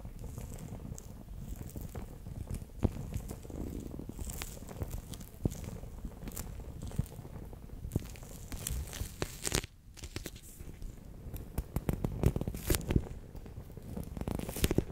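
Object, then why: Clear plastic pouch filled with water beads. A fingertip and nail press and rub the water beads inside a bear-shaped clear PVC gel pouch, giving a steady low, squishy rustle. Frequent sharp plastic clicks and crinkles snap out briefly over it throughout.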